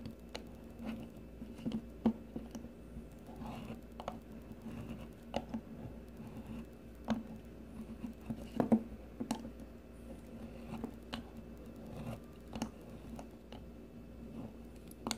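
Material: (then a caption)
Soap. A metal blade on a blue plastic peeler shaves thin strips from a solid, rounded green bar of soap. Short, soft, crisp scrapes repeat irregularly over a quiet, steady low hum, with a few sharper cuts standing out.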